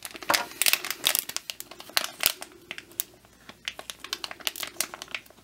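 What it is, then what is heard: Plastic packaging bag. Fingertips grip and crinkle a hand-sized, printed clear-and-brown plastic bag, soft and flexible and filled with a foam bear squishy. The result is a steady run of sharp, bright crackles and rustles with no low end, each snapping off almost instantly. There is a brief, quieter lull near the middle before the crinkling picks up again.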